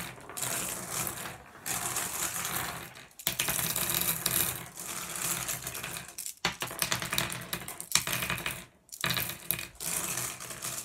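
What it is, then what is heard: Glass gem pebbles. A hand lets handfuls of small, solid blue glass gem pebbles fall onto a pile on a wooden tabletop. The result is a dense, bright clattering and clicking with very short ring. It comes in several bursts separated by brief pauses.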